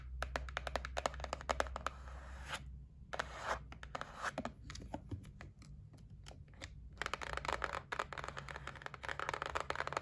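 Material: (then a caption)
Cardboard. Long nails tap and scratch the lid of a white cardboard gift box, first while it is held and then resting on a table. Quick, dry, papery clicks come in dense bursts with short scratchy scrapes, broken by a brief quiet gap. A steady low hum sits underneath throughout.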